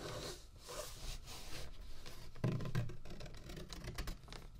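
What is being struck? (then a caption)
Thick paper notebook pages. Fingertips of both hands rub and scratch across the open pages of a handmade notebook with thick, slightly speckled paper and a soft cover, lying flat on a dark table. Quiet, irregular papery scraping and rubbing strokes come in quick succession, with a low, dull body and faint bright rasping edges, growing a little louder midway.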